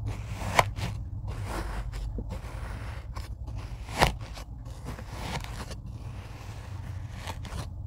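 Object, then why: Tray of kinetic sand cut with a rocker blade. A rocker blade cuts and scrapes through a tray of kinetic sand, making soft grainy crunching and scraping over a steady low rumble. Two sharper, brighter snaps stand out, one early and one near the middle of the clip.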